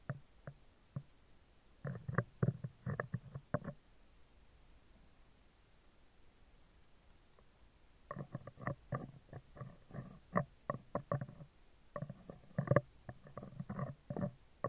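Metal tweezer tips scratch the right side of a hollow, round steel wire-mesh microphone grille. Bursts of dense, scratchy clicking carry a heavy low-end thump, come in a short cluster, then fall silent for a few seconds before longer runs of scraping return.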